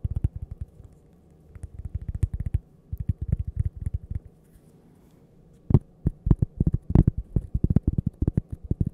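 A thin, flat, solid toast-shaped cork coaster with a printed logo is held edge-on beside the mic and tapped and scratched with long purple nails. It gives dull, deep, muffled thuds that stop instantly with no ring, coming in rapid bursts separated by short quiet pauses.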